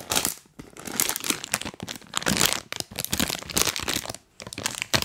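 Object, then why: Plastic snack bag. A full printed plastic cookie bag is held close to the mic and crinkled and scratched by fingers wearing rubber toy hands. The result is dense, bright, crackling crinkles in uneven bursts with a few short quiet gaps.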